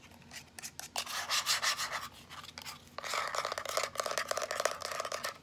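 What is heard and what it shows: A small teal plastic power bank held upright is tapped and rubbed with long nails and fingertips. Soft, bright scratchy rubbing swells through the first half, then gives way to a fast, irregular run of dry clicking taps.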